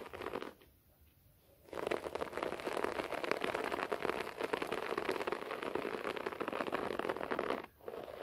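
Fingertips and short nails scratch a beige short-pile floor carpet, producing a dense, crackly rasping centered in the mids with almost no low end. A short burst of scratching is followed by a second of quiet, then steady, continuous scratching that pauses briefly near the end before resuming.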